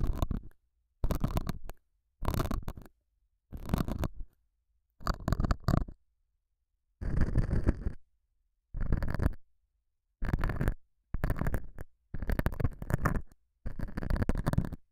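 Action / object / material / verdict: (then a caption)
scrape / felt pad scratched with a metal hook / felt / none. A metal dental scaler hook scratches the surface of a small, solid, square beige felt pad mounted over a small lavalier mic. It makes 11 separate bursts of close, muffled scratching, heavy in low rumble with some bright fizz, separated by silence.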